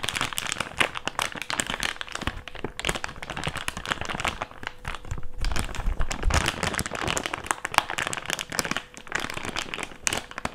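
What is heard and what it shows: An empty, thick, clear plastic bag is crumpled and rubbed with fingertips over a table. It makes a dense, continuous stream of bright, sharp crinkles and crackles with brief louder snaps, over a faint steady tone.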